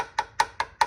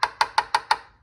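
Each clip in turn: First: Four quick, tight taps with a short bright tone near 870 Hz; the steel subframe mount area sounds solid. Second: Five quick, even mid-pitched taps on a steel subframe mount that sound hollow over an internal cavity.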